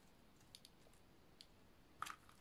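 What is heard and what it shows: A snap-off utility knife blade shaves slices off the face of a solid lilac oval bar of dry soap. It makes a few quiet, crisp crunches with bright scraping edges, then a louder cluster of crackly cuts near the end. Each sound dies away quickly against a faint low background.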